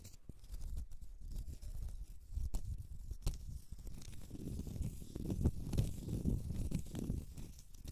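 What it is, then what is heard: Cork stopper. Long red nails scratch the side and face of a small, solid, round cork stopper, producing a steady, low, rumbling scrape with scattered sharp, bright clicks. The scratching swells louder and denser in the second half before easing slightly at the end.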